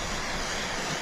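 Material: Nothing is struck.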